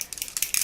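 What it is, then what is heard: Aerosol can with a rattling mixing ball. An aerosol can of Sephora Perfection Mist Airbrush Foundation is shaken before being sprayed onto a brush. The mixing ball inside rattles in quick, bright, high-pitched clicks with almost no low end.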